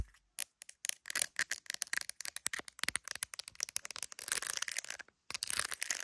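Long acrylic nails tap and scratch an iPhone in a clear plastic case covered with gummy bear decorations, held up to a mirror, working over both the case and the camera bump. Rapid, bright, dry clicks and crackly scratches come in quick bursts, thickening into a dense scratchy patter before a short silence and a final stretch of fast scratching.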